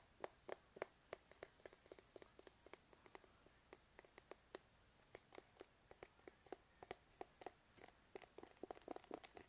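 Fingertips and nails tap and scratch along the side of a hollow, medium plastic Dunkin' Donuts travel tumbler with a blue lid and a printed label, held in both hands. Dozens of quick, dry, hollow taps with a low-mid body and a bright click ring out over a faint scratching rustle. Each tap dies away almost instantly, and the whole clip stays quiet.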